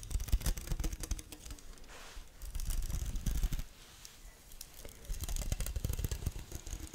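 The head of a badminton racket, a thin metal frame strung with taut synthetic string mesh, is held up close to the microphone while long nails scratch and pluck the strings. Dense bursts of dry, crackly scratching and soft low thumps come in uneven runs, with a quieter stretch in the middle before the plucking picks up again.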